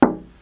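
A single tap on a glass pane in a studio door, treated with black matte and set at a different level from the other panes to throw the glass off balance. It gives a short, solid knock centered in the low mids. The ring dies away almost immediately rather than vibrating on like plain glass.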